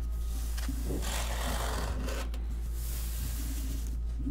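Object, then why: Corrugated cardboard box. Fingertips and short nails rub and scratch across the top of a large, hollow corrugated cardboard shipping box with printed text on top. The result is a continuous dry, raspy scraping over a steady low hum, with brighter bursts of scratching in the middle.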